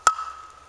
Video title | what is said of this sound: American Woodslayer Episode 3 New chainsaw sharpening tool | it's got a nice hollow sound that's nice dry wood